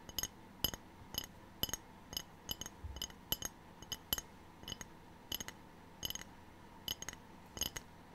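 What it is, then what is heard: Ceramic tray. A ceramic tray is tapped repeatedly, giving quick, bright, glassy clinks that ring only briefly against a quiet background. Some taps land as close doubles. The taps are irregularly spaced across the whole clip.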